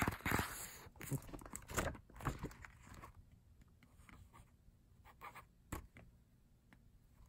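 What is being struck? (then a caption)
Matte paper booklet. An open matte paper lyric booklet is tapped on its pages with fingertips, with some page flipping. Soft, dry taps and papery crunches and scrapes come in an irregular run, with a few louder bursts early on. Quieter taps follow over a low background.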